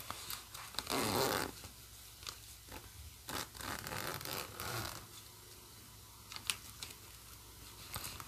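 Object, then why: Nylon bag with plastic zipper. Fingers hold the metal pull of the black plastic zipper on a green nylon bag and slide it along the track. A loud, bright, rasping zip runs around the one-second mark, followed by several shorter, softer zipping strokes. Light clicks and ticks from the pull fill the quiet gaps.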